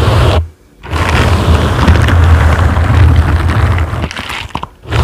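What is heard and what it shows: Silicone bristle gloved fingers grip, scratch and rub a dark grey foam microphone windscreen. The result is a loud, deep rumbling scrape centered around 82 Hz, with muffled crunching texture and almost no high end. The sound drops out briefly near the start and again near the end.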